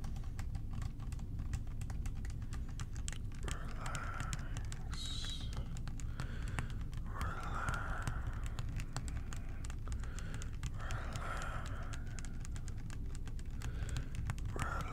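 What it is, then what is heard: Plastic bottle of liquid cleaner. A clear plastic bottle with a blue cap, partly filled with blue liquid cleaner, is held in both hands and tapped with the fingertips. Many soft, quick taps fall in uneven clusters over a steady low hum. A faint mid-range tone rises at intervals.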